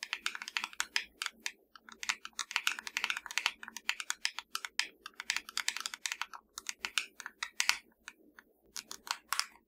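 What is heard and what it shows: Long dark fingernails of both hands tap rapidly on a small, hollow black plastic fireplace remote control lying flat, producing a dense, uneven stream of short, bright plastic clicks with almost no ring. The clicks center around 2 kHz, with no low-end body and only brief pauses between bursts.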